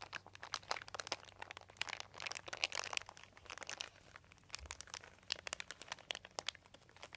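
A crumpled, thin white embossed plastic sheet with a dotted surface lies on carpet while both hands press and crinkle it with their fingertips. Dense, bright crinkling and sharp crackles rush in quick, uneven bursts, mostly high in pitch with almost no low end. Each crackle cuts off almost instantly, with brief quieter stretches between the busier clusters.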